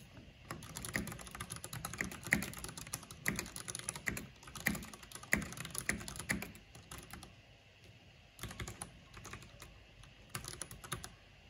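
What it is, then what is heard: Plastic mechanical keyboard. Fingertips and long nails type on a black plastic mechanical keyboard with a purple backlight, tapping the keys. Rapid, bright plastic clicks and clacks come in dense bursts, ease into a quieter stretch partway through, then pick up again in shorter flurries toward the end.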